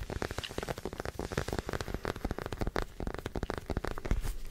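A small white plastic acupuncture doll is held close to the mic and scratched and tapped with fingernails and fingertips. It makes a rapid, continuous run of short, dry clicks and scrapes with a soft, low, thumpy body. Each tap dies away almost instantly.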